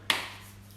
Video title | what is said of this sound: La recette facile pour faire votre pain | Il faut que ça sonne creux quand on cogne avec le doigt.